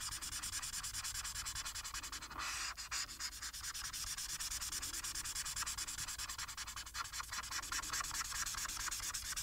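The felt tip of a plastic marker rubs back and forth across a thin printed paper coloring sheet lying flat, making repeated coloring strokes in the blue background. A fast, steady, bright scratchy rustle is heard, with brief louder swipes and little low end.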